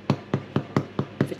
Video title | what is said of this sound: HOMEMADE FISH FINGER SANDWICH | turn it over and you bang the bottom if it sounds Hollow it's cooked